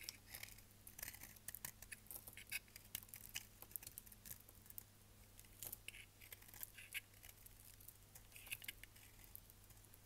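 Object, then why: Bar of soap shaved with a knife blade. A hand-sized, solid dry bar of purple-and-lilac striped soap, held in one hand, is shaved with a utility knife blade so that curls of soap peel off. The clip is a quiet, steady run of crisp, bright scraping and crackling ticks. A faint low hum continues underneath throughout.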